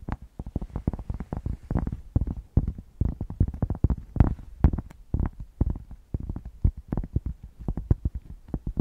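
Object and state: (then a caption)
Thick cork block scratched. A thick, solid cork square is held up close to the microphone and scratched with long painted nails. The result is a rapid, uneven run of short, dry, thumping scrapes, heavy in deep bass with almost no bright top and no ring after each stroke.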